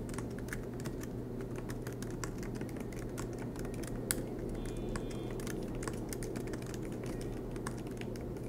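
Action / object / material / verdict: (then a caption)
tap / laptop keyboard, plastic keys in aluminum body / plastic / none. Fingertips of both hands tap continuously on the black plastic low-profile keys of a silver MacBook Pro set in an aluminum chassis. The result is steady typing of short, soft clicks with little ring over a constant low hum.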